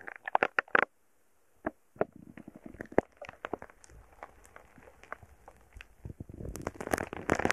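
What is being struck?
Foam bead slime pressed with a wooden stick.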